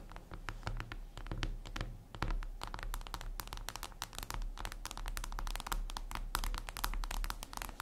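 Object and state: Glass screen tapped with fingernails.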